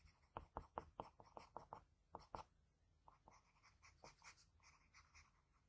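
A graphite pencil makes short scratching strokes on a flat sheet of white drawing paper, shading under the nose of a sketch. A quick run of crisp, dry scratches comes first, then a softer stretch of lighter, brighter, hissy strokes.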